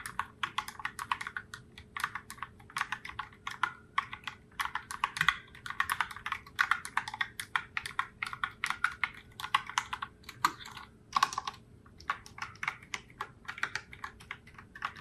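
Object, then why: Plastic mechanical keyboard keys. Long nails and fingertips type on a pink and raspberry Logitech Pop Keys plastic mechanical keyboard with round plastic keycaps, sitting in its open box. Fast, clacky keystrokes come in quick bursts, bright and crisp with a midrange click and very short decay, before the hands pull away at the end.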